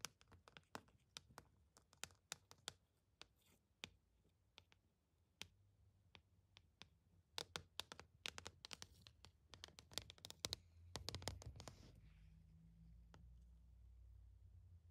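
Long acrylic nails tap and scratch across the flat, glossy glazed front of a wall-mounted, poster-sized framed Tokyo map print with a solid flat panel. The result is dozens of sharp, bright clicks with almost no ring, plus quick scratchy bursts that cluster densely toward the middle. After the last taps, a low steady hum rises and continues to the end.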